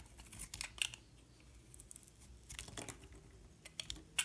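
A metal utility knife blade shaves flakes off the surface of a solid white-and-yellow bar of soap held in the hand. The result is a series of short, crisp, bright scraping and cutting ticks with almost no ring, spread unevenly across a quiet, faintly hissing background.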